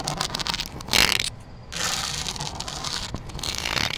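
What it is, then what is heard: Synthetic rattan wicker planter. Long black nails scratch and tap across the woven surface of a large, hollow, grey synthetic rattan outdoor planter. The result is a bright, dry rasping with crackly ticks, peaking in a loud burst near the start before a brief quieter lull, then continuing steadily.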